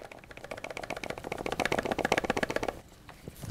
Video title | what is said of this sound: Yongnuo 35mm F2 Lens Review and Canon 35mm F2 Comparison | you can hear stuff moving around whenever you shake it